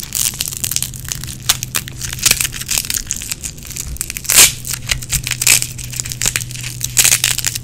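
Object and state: Nylon hook-and-loop strap being peeled.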